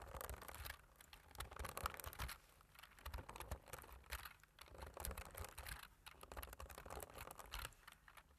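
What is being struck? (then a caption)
Plastic computer keyboard keys. Fingertips with medium nails type on the keys of a black plastic computer keyboard, producing a fast, uneven patter of short, dry clicks and taps. The clicks come in dense bursts with brief lulls, each one dying away almost instantly, with a low thump under a brighter clack.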